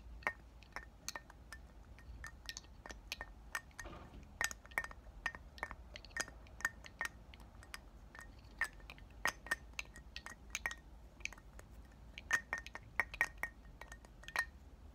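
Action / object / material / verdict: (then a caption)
tap / glass perfume bottle / glass / none. Short black-painted nails tap and clink on a round, palm-sized pink glass perfume bottle with a clear pink cap, partly filled with liquid, while it is held in both hands and turned. Dozens of quick, bright clicks come in irregular bursts, each carrying a faint glassy ring near 1.9 kHz that dies away almost at once, over a quiet background.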